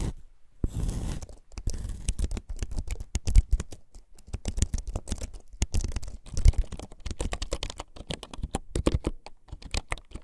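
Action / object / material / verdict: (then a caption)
tap / wooden keyboard / wood / none. Fingertips of both hands type rapidly on a full-size keyboard with a bamboo or wood case, wooden keycaps and a hollow body, lying on a desk. After a brief quiet start, a dense run of short, dull, low clacks and taps follows, each dying away almost instantly. The key strokes carry a soft, hollow, woody thud with little high brightness.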